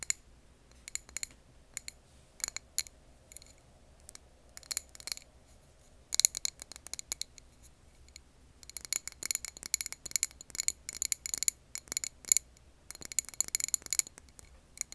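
Long nails tap and scratch a clear glass jar filled with a green wax candle. Bursts of sharp, bright clicks and scrapes ring with a high glassy tone and die out almost at once. The clusters come with short pauses at first and grow denser and faster in the second half.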